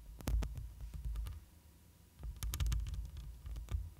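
Long pointed nails scratch the black metal mesh grille of a hollow studio microphone, first with one hand, then with both hands. Deep, booming low thumps and rumbles come through with short, bright scraping ticks on top. A quieter stretch in the middle gives way to a denser burst of scratching.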